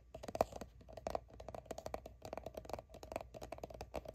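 Long nails quickly tap and scratch the label of a soft plastic sunscreen squeeze tube that appears filled. The result is a quiet, dense run of short, dry clicks and scratchy rustles with a hollow midrange tone around 650 Hz, each tap dying away almost instantly.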